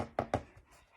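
Two taps on a sheet of heavy 300 lb (600 gsm) watercolor paper, each a short, dull thud with a low-mid body that dies away quickly. The heavier paper gives a deeper, heavier tapping sound than 140 lb paper.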